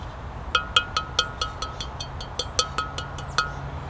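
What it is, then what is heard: Fully fired clay pots, ringing. Primitive pots made from local North Georgia clay, fully fired into ceramic with fire clouds on their surfaces, are tapped about fifteen times in quick succession. Each tap gives a short, bright, clinking ring over a low background hum. The pots are confirmed as true ceramic, since getting them wet did not make them degrade or fall apart.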